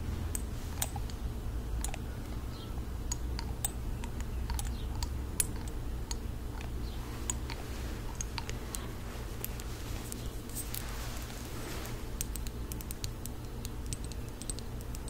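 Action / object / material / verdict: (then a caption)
tap / small glass dropper bottle, partly filled / glass / none. Long acrylic nails tap a small glass serum bottle with a white dropper cap, partly full of liquid and held in one hand. It makes a quick run of sharp, bright clicks and ticks that die away almost instantly, over a steady low hum.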